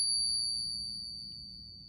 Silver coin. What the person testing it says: sounds like American minted silver for sure has that tight vibration to it